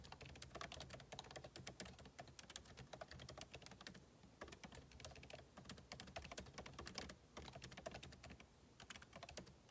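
Fingertips type rapidly on a backlit MacBook Pro keyboard with plastic keycaps set in an aluminum body. The result is a dense stream of short, bright clicks and soft thuds, with brief lulls around four, seven and nine seconds. A faint steady low hum sits underneath.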